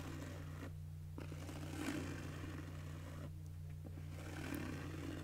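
Long nails scratch across a pink padded nylon fabric cosmetic bag with a zipper, making soft, airy rasping strokes that swell and fade in waves. A steady low hum runs underneath throughout.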